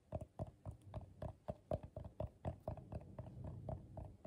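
Fingertips and short nails tap on the bottom and outer wall of a medium, hollow, empty bowl of coiled colorful paper held in the hands. The result is a quick, uneven series of soft, dull knocks, about four per second, each with a low hollow thump and a muted mid-range tone that dies away almost instantly.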